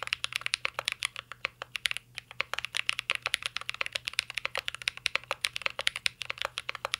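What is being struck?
Mechanical keyboard, plastic keycaps in metal case.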